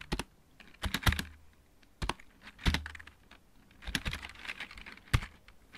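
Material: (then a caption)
Plastic. Fingertips of both hands type in irregular bursts on a full-size backlit mechanical keyboard with plastic keycaps. Each press gives a short, dry clack with a low thump and a bright click that stops almost at once. Faint music may be playing in the background.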